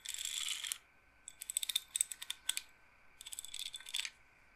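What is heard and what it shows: Fingernails tap and roll the wooden beads on the rods of an upright wooden bead roller massager. A dense, bright clicking rattle gives way to a run of sharp, separate high-pitched taps, then returns to a quicker rattling roll. Each click is very dry, with almost no low end and virtually no ring.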